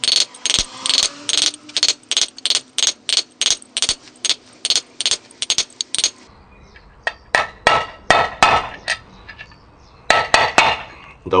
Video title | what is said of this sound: Quad Getriebe macht Geräusche, Getriebe überholen, Kugellager wechseln | Das hört man einfach an diesem blechernen Geräusch. Es verändert sich und wir sind eigentlich fertig.